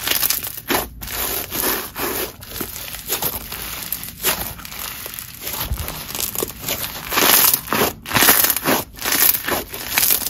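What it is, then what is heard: Crunchy snow fizz slime. Red crunchy snow fizz slime, a red grainy slime, is pressed flat with the fingertips and squeezed into a ball with both hands on marble. It gives a steady run of crinkling, crunchy crackles with a bright, fizzy hiss and little low end.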